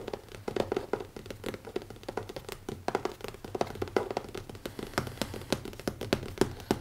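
Fingertips tap fast on the cover of a small, closed black leather-covered hardcover notebook with an elastic band, resting on a wooden table. The taps are rapid, soft and dull, centered in the low-mid range with almost no ring, over a faint low background hum.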